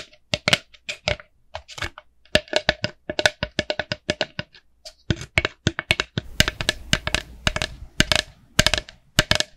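A small, empty, hollow orange plastic jack-o'-lantern candy bucket with a black handle is tapped and scratched with long manicured nails. Rapid, irregular sharp plastic clicks and taps with a hollow tone sit over brief scratchy rasps and trail off with almost no ring.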